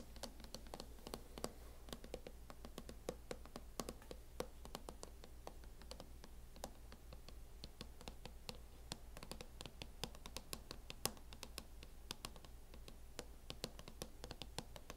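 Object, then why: Plastic hard-shell laptop case. Long nails tap rapidly and steadily on the lid of a closed MacBook fitted with a teal matte plastic hard-shell case. Each tap is a short, dry, bright click that dies away almost at once. A steady low hum runs underneath throughout.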